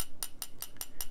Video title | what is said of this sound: 2023 Eureka PEEK Fountain Pen Review | 叩いたときの感触と色調はほぼ結晶質であるため、非常に硬い素材です。